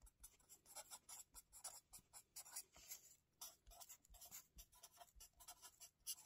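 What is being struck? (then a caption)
Felt-tip marker on paper notebook pages. A hand writes with a felt-tip marker on the lined paper pages of a spiral notebook resting on a table, scratching the tip over the paper. A rapid, uneven series of short, bright, scratchy strokes follows, with brief pauses between bursts and very little low end.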